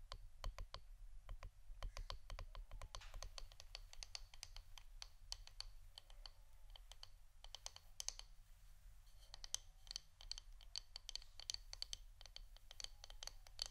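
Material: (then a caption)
Wood. Fingernails tap on the wooden part of an incense stick holder. Quick, dry, bright clicks come in fast, uneven runs over a steady low background hum, each tap dying away almost at once.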